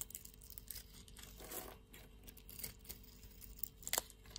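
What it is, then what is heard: Soap bar. A utility-knife blade scrapes cubes off a solid blue-and-white striped soap bar. Quiet, dry, crinkly scraping rasps carry mostly bright, high hiss, with a longer grainy scrape in the middle and a few sharper crackling snaps near the end.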